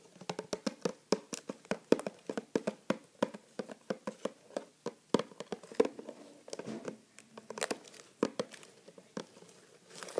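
Fingertips tap and rub the sides of a medium-size printed cardboard neti pot product box standing upright on a table as the box is turned. A rapid, irregular series of short, dry taps is heard with soft rubbing and possibly some light crinkling between them.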